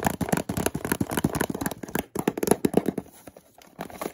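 Fingertips and nails tap and scratch the sides and edges of a small, hollow white cardboard product box. Rapid, irregular, dry hollow taps with a low-mid body sound in quick bursts, broken by a brief pause around the two-second mark. Softer scratching and lighter tapping trail off toward the end.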